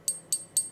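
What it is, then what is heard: Fake silver coin, dull ping. A fake silver panda coin is pinged three times, giving short, dull high-pitched pings that die away almost at once instead of ringing. Its sound is drastically different from a genuine silver coin's resonant ping, marking it as fake.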